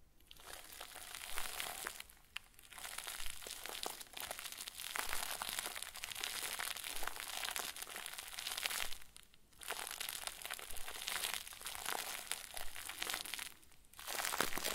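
A round white plastic bag stuffed into a crinkle ball is squeezed and crumpled over and over by the fingertips of both hands. It gives a dense, bright, continuous crackling that stops briefly a few times before starting again.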